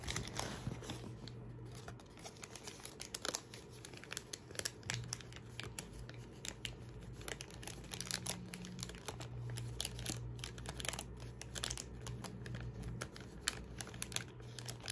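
A thin, folded paper receipt is held in the fingertips in front of a leather backpack and crinkled and rubbed between the fingers. Dense, bright crackles and rustles run continuously over a steady low hum.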